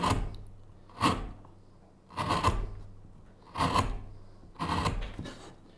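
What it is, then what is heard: Wooden spoon blank being carved. A small gouge scrapes and hollows the bowl of a solid, pale wooden spoon blank lying flat on a cutting mat. Five separate rasping strokes about a second apart each give a quick, dry scrape centered near 1 kHz with bright edges, then fade quickly. A faint low hum runs underneath the whole time.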